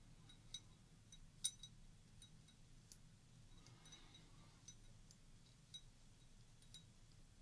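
Long orange-painted nails tap a small, round, clear glass tumbler partly filled with water, held in one hand and then lowered to the table. Quiet, bright, short clinks come at irregular intervals over a steady low hum, with a brief soft wash of sound near the middle.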